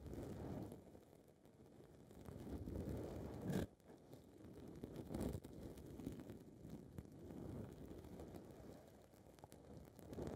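Long red nails scratch and rub the side of a small blue foam ball windscreen on a recorder's mic capsule. The result is a muffled, low, rumbling rustle that swells and fades, with two louder scratchy bursts partway through.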